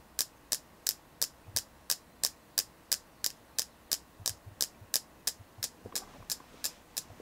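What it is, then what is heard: Selenite crystal. Steady tapping on a selenite crystal: 21 short, bright clicks at about three per second, each dying away almost instantly. A faint low hum sits underneath.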